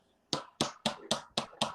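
A plastic drinking cup is tapped six times, giving short, dull clicks with no ringing tone, unlike a glass cup. The dull sound marks it as an economy-class cup rather than business-class glass.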